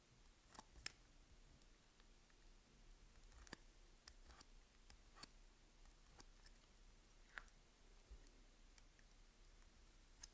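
A utility knife blade scratches a crosshatch grid into the surface of a solid green Palmolive bar soap held in the hand. Quiet, sharp, bright clicks and scrapes stand out over a low background hiss, with about fifteen distinct ticks spread across the clip.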